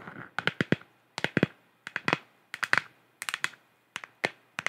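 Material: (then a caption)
Plastic. Long nails tap and scratch the surface of a hollow, galaxy-printed plastic sphere lamp about 15 cm across. Quick clusters of short, dry, hollow clicks with a bright edge repeat in uneven bursts, about twenty taps in all, separated by brief silences. A faint scratching rasp is heard at the start.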